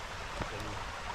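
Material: Nothing is struck.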